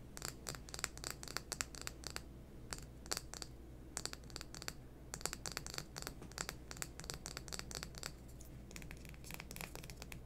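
A small, hollow green plastic lipstick tube with a floral print is held in both hands and tapped and scratched with long fingernails. The result is a quiet, rapid stream of crisp, bright clicks and scratchy rasps in irregular bursts, with short pauses, over a steady low hum.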